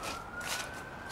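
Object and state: Nothing is struck.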